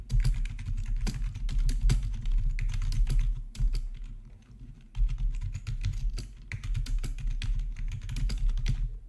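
Fingertips tap steadily on the black plastic backlit keys of a hollow-bodied plastic RGB membrane keyboard. The keystrokes are soft, low thuds with short clicky tops, and they run densely, ease into a brief lull near the middle, then pick back up.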